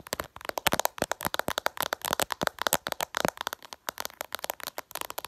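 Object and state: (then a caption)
Glass smartphone screen. Long purple nails tap quickly and irregularly on the reflective glass screen of a flat smartphone. The result is a rapid, uneven stream of sharp, dry clicks that are bright and snappy, with almost no low end and no ringing after each tap.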